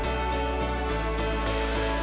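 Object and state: Nothing is struck.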